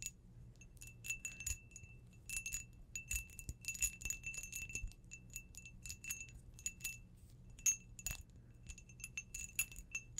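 An empty, hollow, clear cut-crystal glass tumbler, held in one hand, is tapped quickly with long blue acrylic nails. The result is a rapid run of bright, glassy clicks and tinkles with short high rings, over a faint low rumble.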